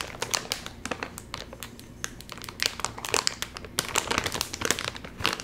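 Fingers pinch and pull at the top seam of a full, sealed Doritos chip bag made of crinkly metallized plastic film. The result is a steady stream of sharp, bright crackles and crinkles with very little low end, each snap dying away almost instantly.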